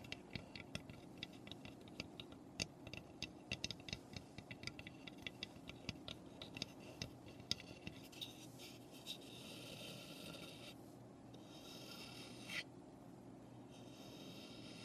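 Long nails tap and scratch along the roof edges of a small, hollow, unfinished raw pine birdhouse. Quick, bright, dry clicks with no ring fall irregularly over the first half. They then give way to steadier, hissy scratching strokes, all at a quiet level.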